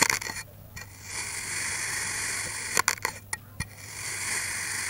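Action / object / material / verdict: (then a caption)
scrape / kinetic sand block cut with a steel knife / sand / none. A steel knife blade slices repeatedly through a solid, green molded block of kinetic sand, giving crunchy, bright scraping cuts. Sharp crackling bursts stand out against a steady high hiss and a faint low hum, with quiet gaps between the slices.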